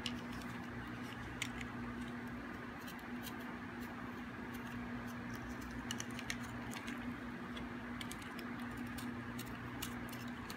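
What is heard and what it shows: A hard, dry, solid green bar of soap held in the hand is scraped with a metal blade, giving a steady, dense scratchy rasp. Bright crackling ticks and flakes pop out throughout over a constant low hum near 240 Hz.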